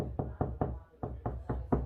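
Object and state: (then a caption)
Solid wall over stud. Seven knocks on a drywall wall over a wooden stud, checking a HART Stud 3 LED stud finder's reading, give short, dull, low thuds that die away quickly. The knocks sound solid, confirming the stud is there.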